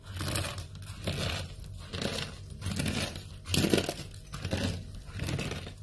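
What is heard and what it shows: Dry pink soap shavings are crushed in fists, then a pile of the flakes is pressed down with flat hands. Each squeeze gives a dry, crunchy, crinkling burst with bright hiss over a low rumble. The bursts come in uneven swells about once a second and die away almost at once.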